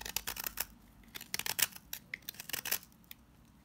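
A box-cutter blade shaves crumbly flakes from a pink solid salt scrub soap bar held in the hand. A quick run of short, dry, bright scraping and crunching strokes follows, each dying away almost at once, with quiet gaps between the bursts.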